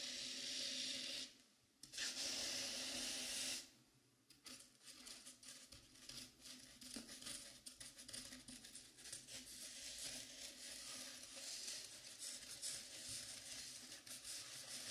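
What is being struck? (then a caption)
Velvet-flocked foam mannequin head. Long pink-painted nails of both hands scratch and rub the sides of a life-size dark blue mannequin head covered in soft velvet flocking, likely foam. Two loud, steady, bright rubbing swipes come first, then quieter, irregular scratching strokes continue with a soft, hissy, high texture.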